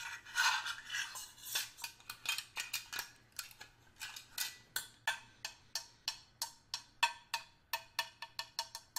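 A small, hollow stainless steel hip flask, held in one hand, is knocked with a small metal screwdriver held in the other. It gives a long, uneven series of quick, bright metallic taps, each ringing briefly around 940 Hz. The first second or so blurs into a scraping cluster before the taps separate into distinct clinks.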